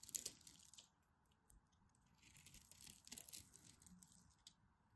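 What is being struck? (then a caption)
Bar soap carved with a blade. A black craft knife carves crunchy flakes from a solid, dry teal-and-white striped soap bar held in the hand. The result is quiet, bright crackling scrapes in bursts, with little low end and almost no ring after each cut.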